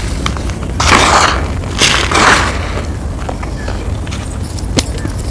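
Bare hands crumble small, dry, compacted clumps of loose grey cement-sand powder from an outdoor pile, crushing them between fingertips and palms as powder falls. Dry, gritty crunching swells in two broad bursts, followed by softer crackles, scattered light ticks and one sharp click near the end, all over a low steady rumble.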